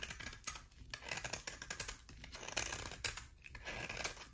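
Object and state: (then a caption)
Bar soap. A solid cream-colored bar of soap with a thin dark edge, held in the hand, is scraped with a utility knife blade. The result is a quiet, continuous run of crisp, bright scraping and shaving strokes with a dry crackle and little low end.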